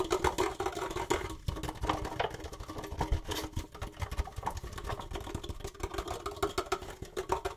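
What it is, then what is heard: Empty plastic cup, hollow. An empty, hollow red plastic disposable party cup is held in both hands while fingertips and nails rapidly tap and scratch its ribbed sides and rim. The result is a fast, continuous stream of hollow plastic clicks and raspy scratches with a short, bright mid-range ring.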